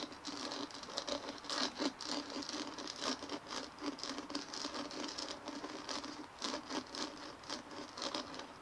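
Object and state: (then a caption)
Dimpled plastic ball, scratched and tapped. Long fingernails on both hands scratch and tap a large white dimpled plastic ball resting on a table. The result is a quiet, irregular patter of light clicks and scratchy rasps, bright and thin with almost no low end. Each tap dies away quickly.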